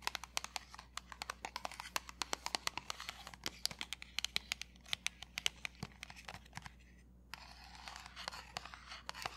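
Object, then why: Printed cardboard box. A small, square, dark grey Cover FX pressed powder box made of printed cardboard is held close and tapped and scratched with fingertips and nails. Dozens of quick, sharp, bright taps are heard over a soft papery scratching hiss, with a brief quiet pause near the end before the scratching resumes.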